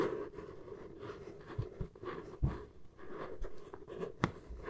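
Long nails scratch the flat side of a hollow brown corrugated cardboard box. A quiet, steady scratchy rustle with a dull, low-heavy body runs throughout, broken by three brief, louder thuds that die away almost at once.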